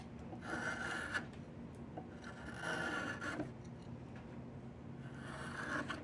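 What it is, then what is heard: Diamond willow walking stick being carved. A metal carving blade with a yellow handle scrapes and shaves along a long, solid, partly debarked diamond willow walking stick held across the lap. Three drawn-out rasping strokes are heard, each carrying a steady, whistling tone near 1.4 kHz over a bright, hissy scrape. Quieter fibrous shaving noise fills the gaps between strokes.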